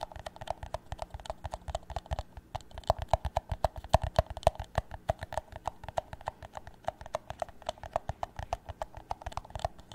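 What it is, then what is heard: Empty plastic cup. An empty, hollow clear plastic drinking cup is held tilted and tapped on its bottom and walls with fingertips and nails. The result is a quick, uneven stream of short, dry taps with a hollow tone around 670 Hz and soft low thumps. Each tap stops almost instantly, with little brightness.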